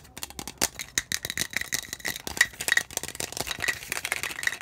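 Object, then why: Plastic tumbler with lid and straw. A clear plastic tumbler with a blue lid and straw is held in the hands and tapped quickly with the fingertips on its bottom, lid and sides. The result is a rapid, uneven stream of short, bright plastic clicks and taps with a faint hollow ring around 1.9 kHz.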